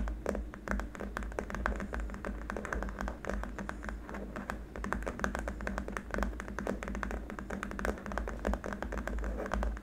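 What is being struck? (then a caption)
Hard plastic keyboard wrist rest. Fingertips and short nails of both hands tap quickly across a long, flat, solid white hard-plastic keyboard wrist rest. The result is a dense run of short, dry clicks and knocks with almost no ring, over a steady low hum.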